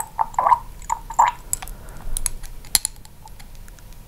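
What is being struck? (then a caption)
Small glass dropper bottle with a plastic cap. Long pink acrylic nails tap and click on the black dropper cap and neck of a small amber glass serum bottle held in one hand, with a microphone nearby but not touched. The result is a series of short, dry, uneven clicks and taps with a faint ringing tone near 880 Hz, brief bright ticks, and almost no decay between them.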